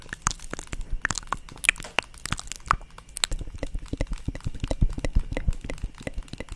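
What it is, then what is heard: Plastic paddle hairbrush. A hand-sized black plastic paddle hairbrush, with a handle, bristles and a hollow-backed body, is held up and tapped and scratched on its back with long acrylic nails. A rapid run of sharp, dry clicks and crunchy scratches follows, each stopping almost at once, with a hollow low thump under the bright ticks.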